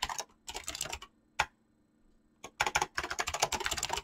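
Fingertips type fast on a mechanical keyboard with clicky switches and PBT plastic keycaps. Bright, crisp clicks come in quick bursts, with a single sharp stroke and a quiet pause in the middle. A dense, continuous run of typing then lasts to the end.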